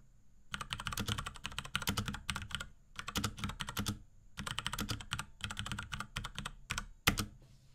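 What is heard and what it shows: Fingertips of both hands type rapidly on a small pink Akko X Ducky 3084 mechanical keyboard with Cherry MX Brown switches, plastic keycaps and a plastic case. Quick bursts of bright, clacky keystrokes over a low thock come in runs separated by short pauses. One sharp, louder press lands near the end before it goes quiet.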